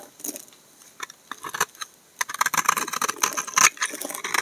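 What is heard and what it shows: A snap-off utility knife blade scrapes and shaves flakes off a solid brown bar of laundry soap held in the hand. Sparse, crisp scraping strokes in the first two seconds give way to a denser run of bright, rasping shaves. Each stroke is dry and short with almost no low end.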